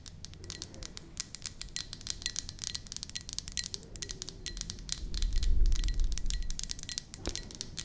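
Long nails tap and scratch the glazed outside of a white ceramic mug with a flower print, held in both hands. Dozens of quick, bright clicks come about four per second in an uneven rhythm, over a low, soft rumble that swells briefly near the end.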